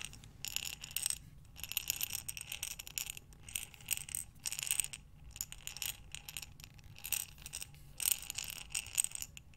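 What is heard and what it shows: A glass mason jar with a metal lid, full of buttons, is tilted and rolled in both hands. The buttons rattle and clatter against the glass in bright, dense bursts of clicks with brief quiet gaps between them.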